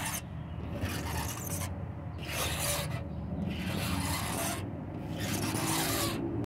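Short fingernails scratch slowly across the surface of a white-painted wooden door, producing repeated dry, bright rasping strokes separated by brief pauses. A steady low background rumble runs underneath throughout.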